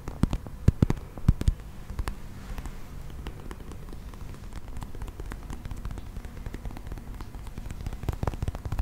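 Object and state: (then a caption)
Plastic toy figurine. A brown textured plastic toy mammoth with cream tusks is held close and tapped and scratched with fingertips and nails. Sharp, dry clicks and dull thumps stand out at the start and again near the end, with a steady, low, crackly scratching filling the middle.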